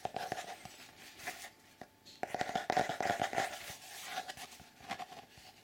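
Fingertips scratch and rub across a flat grey sheet of cardboard or thick paper bearing a colourful mandala drawing. The result is an irregular run of dry, papery scratches and quick rubbing strokes with short, sharp bursts and no ring. A faint steady tone sits underneath throughout.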